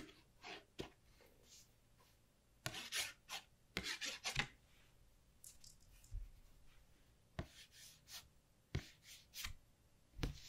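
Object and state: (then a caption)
Paper flashcard. A capped black pen, and later a fingertip, is rubbed and traced along the letter Zz on a small, thin, flat white cardstock alphabet flashcard held in one hand. Short, dry, bright scratching and rubbing strokes come in separate quiet bursts with soft low thumps, and each stops almost at once.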